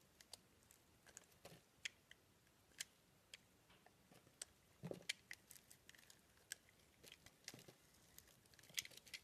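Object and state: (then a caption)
Soap being carved with a blade. A blade carves a round green and pink soap disk, cutting pieces off the green rim and scraping across the pink center. The sound is a quiet series of sharp, bright clicks and short crisp scrapes, each dying away almost instantly, with a faint soft rasp between them.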